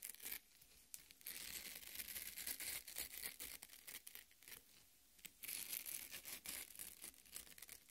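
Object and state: Watermelon half, flesh scratched by nails.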